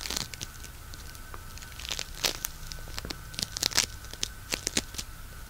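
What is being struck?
Polystyrene bead floam.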